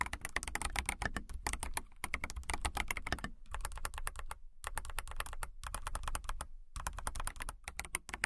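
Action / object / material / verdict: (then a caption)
tap / clear acrylic mechanical keyboard with plastic keycaps / plastic / none. Fingertips and nails type on a transparent, clear acrylic mechanical keyboard with clear keycaps. A steady, fast run of sharp clicky key taps plays, paused by brief gaps, each tap short and crisp over a low thump.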